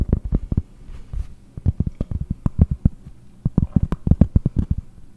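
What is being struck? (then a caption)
Round cork board tapped with fingernails. A round solid cork board, held near the microphone, is tapped with long painted nails. The result is quick bursts of dull, low, muffled thuds with almost no ring and no bright content, broken by short pauses.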